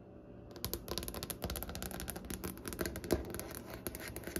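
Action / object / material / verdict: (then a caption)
tap / wooden tabletop / wood / none. Long painted nails on both hands tap and scratch across a large, solid, light-colored wooden tabletop with visible grain. After a brief near-silent start, a rapid, dense stream of sharp clicky taps mixed with dry scratching rises, with a low woody body under bright, crisp clicks. The taps stop quickly with almost no ring.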